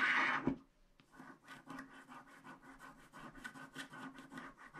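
A wooden stick scratches the black wax coating off the pink strip of a small, flat, wax-coated paper scratch art card. After a brief louder opening burst, a steady run of dry, rhythmic scraping strokes follows, with a mid-range body and a bright, papery hiss.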